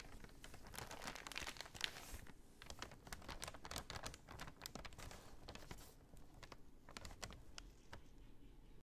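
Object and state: Paper shopping bag.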